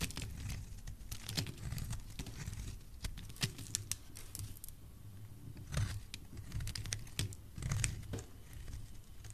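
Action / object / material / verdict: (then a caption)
scrape / bar of soap / soap / none. A solid pale pink soap bar held in the hand is carved with a utility knife blade, and flakes fall off. Short, crisp scraping and snapping cuts keep sounding over a low, steady rumble, with several sharper, brighter strokes standing out.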